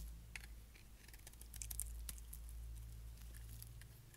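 A solid black dry bar of soap, held in the hand, is scraped with a utility knife blade to cut off shavings. Quick, crisp, bright scratching ticks sound over a steady low hum as the thin curls of soap peel away.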